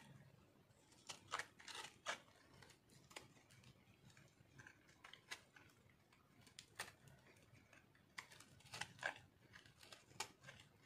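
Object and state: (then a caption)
Dry soap bar being scraped. A metal knife carves and scrapes a solid pink speckled dry soap bar held in one hand. It makes quiet, dry, bright scratching and scraping sounds in short irregular bursts, with a few sharper crunchy cuts standing out. Each cut dies away almost at once.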